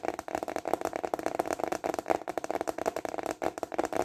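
A thin, flat, translucent plastic container lid is held upright and tapped fast with fingertips and short nails. The result is a rapid, uneven stream of dry, hollow clicks centered in the midrange, with almost no bass or high hiss. Each tap dies away almost instantly.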